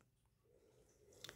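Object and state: Nothing is struck.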